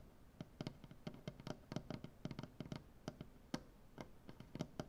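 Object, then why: Wooden butcher block table. Fingernails tap and click with both hands on a solid light wood butcher block tabletop. About two dozen short, dry taps come in an uneven rapid pattern. Each has a low, woody body and a faint bright click, and dies away almost instantly against a quiet background.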